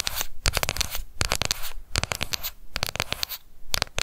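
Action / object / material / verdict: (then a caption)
tap / plastic cosmetic compact / plastic / none. A small round pink plastic cushion foundation compact with a clear lid is held in both hands and tapped quickly with long acrylic nails. Rapid, dry, bright clicks come in clustered bursts with brief pauses between them, each tap cutting off almost instantly.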